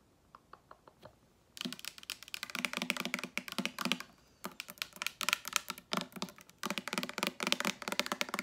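A medium blue-tinted Maui Moisture plastic hair oil spray bottle with a gold pump cap, hollow and held in hand, is tapped with long acrylic nails. Five light, separate taps open the clip, then give way to fast, dense bursts of sharp, bright clicking with brief pauses between runs. Each tap is short and dry, with no lingering ring.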